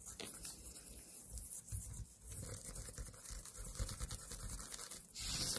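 Long nails scratch and tap the stem and body of a small white pumpkin standing on a table. The result is a quiet, continuous dry rubbing and scraping with soft, dull taps and low thumps throughout, under a faint bright hiss.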